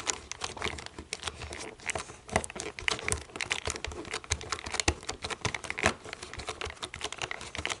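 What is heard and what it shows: Long nails tap and scratch over the white buttons of a black plastic TV remote, making a dense run of quick, dry clicks with crinkly, bright scraping between them. Each tap dies away almost at once, and the sound stays light with little low end throughout.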